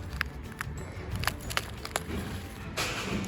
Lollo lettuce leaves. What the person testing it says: This is crispy salad. You see how crispy it is? You hear that? This is very crispy.